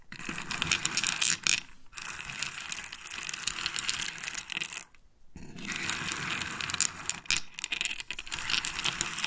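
Freshly extracted pearls are handled and clicked together, making a dense, bright clinking and rattling with many quick, sharp clicks. The sound pauses briefly near 2 seconds and again around 5 seconds before the clicking resumes.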